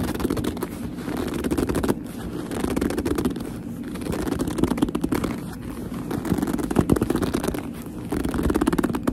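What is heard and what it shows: A medium black leather handbag, hollow and soft, is gripped and squeezed with long almond-shaped nails and fingertips. The leather rubs and squeaks in dense, low-mid creaking bursts that swell and ease in slow waves.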